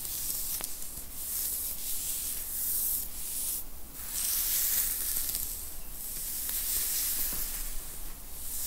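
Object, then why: Knit fabric T-shirt worn on the back. Long, pointed blue-teal acrylic nails scratch and rub across a dark grey knit T-shirt worn on a person's upper back and shoulders. A continuous, bright, hissy scratching rises and falls in long strokes over a steady low hum.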